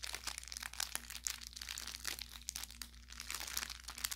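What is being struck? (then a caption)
Fabric plush toy with crinkle filling. An orange velour plush carrot cat toy with crinkle filling is squeezed and pressed with the thumb and fingertips. It gives a dense, bright run of crinkling and crackling, with quick sharp pops over a faint steady low hum.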